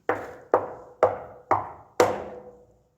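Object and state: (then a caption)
Empty slurry tanker. Five knocks on the steel tank of an old JWT Western slurry tanker, at least 20 years old, each giving a hollow metallic clang with a ringing tone near 500 Hz that fades after every strike, the last one ringing longest. The tank sounds empty, and its back door is to be unbolted and opened later so it can be cleaned out.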